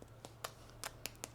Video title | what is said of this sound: Dia de trilha + Pão de fermentação longa e Rotina | a casquinha, dá pra ouvir, né? Tá crocante, então macio por dentro e crocante a casquinha